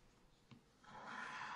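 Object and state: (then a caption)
Scratch-art paper being scratched. A wooden stylus scratches away the black wax coating of a spiral-bound scratch-art pad lying flat on a table, revealing a colourful cactus picture, while fingertips also brush shavings off the page. After a quiet, faint rubbing start and a single soft tick, a steady dry rasping scratch swells in and grows louder, centred in the midrange with bright edges.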